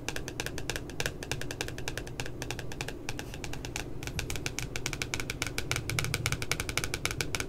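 Long nails tap rapidly on the left side of the glossy cardboard back cover of a spiral notebook with a puppy design. The result is a steady stream of short, bright clicks with almost no ring, over a continuous low rumble.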